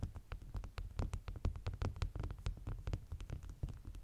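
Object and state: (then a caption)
Stack of beeswax food wraps. Long natural nails and fingertips tap and scratch the top layer of several folded beeswax-coated cotton food wraps with a bee print, stacked flat on a white cloth. A quick, irregular run of soft taps gives short, sharp clicks and crinkly scratches that reach up bright over a steady low, thumping rumble.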